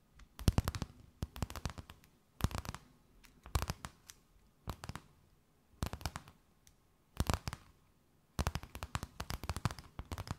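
A thin, empty, clear plastic bag held between both hands is tapped, scratched and crinkled with long nails. Bursts of sharp, crackling rustles come in short clusters separated by brief pauses, with a longer, denser flurry of crinkling at the end.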